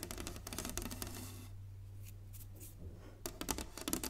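Long nails on both hands tap quickly across a solid, flat inlaid wooden chessboard, giving dry, bright, short clicks that die away almost instantly. A low, steady hum sits underneath. The tapping fades to soft rubbing in the middle, then returns in sharper clusters at the end.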